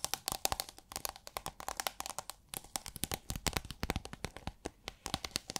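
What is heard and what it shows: Long nails tap and scratch on a roll of iridescent holographic plastic film, rolled into a hollow tube and held upright. Dozens of quick, crisp clicks and crinkly scrapes come in a steady, uneven rhythm, each dying away almost at once with a bright, papery edge.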